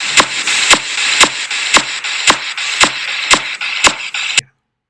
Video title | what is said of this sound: EXPLORACIÓN FISICA DE ABDOMEN | escucharíamos una matidez o submatidez